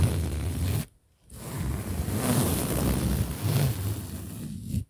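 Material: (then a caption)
Polyester fabric. Fingers and nails scratch and rub a large soft pillow with a printed polyester cover held in front of the mic, giving a dense, low-heavy rustling with a faint bright hiss. The rubbing breaks off for a brief silence just under a second in, then resumes steadily for about four seconds before stopping.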